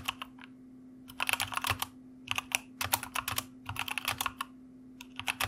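A white plastic mechanical computer keyboard is typed on with the fingertips of both hands, giving quick bursts of short, bright clicking keystrokes separated by brief pauses. A faint steady low hum runs underneath throughout.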